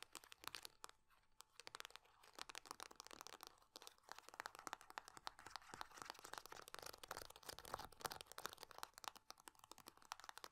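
A small metal-laminate hand cream tube is held in both hands while long nails rapidly tap, scratch and crinkle its body. The result is a quiet, continuous stream of sharp, dry crackles and clicks, bright and crisp with almost no low end.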